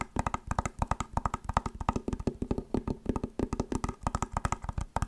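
Long nails rapidly tap and scratch along the shell of an elongated, hollow white plastic clamshell glasses case. About 39 quick, dry, irregular clicks come with a soft low knock and a faint hollow mid-range tone, each dying out almost instantly.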